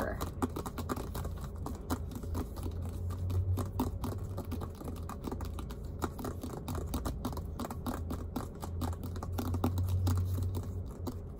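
A full-size, hollow, inflated soccer ball with yellow and white synthetic leather panels is held in the lap and tapped and scratched with fingertips and short nails. Quick, irregular soft taps and scratchy brushes patter on continuously over a steady low hum.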